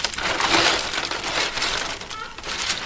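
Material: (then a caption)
Shell. A batch of live shellfish is shaken to check for an open, dead one: a bright, dense clattering rattle of shells knocking together, rising and falling in waves over about three seconds. The result of this shake is not shown.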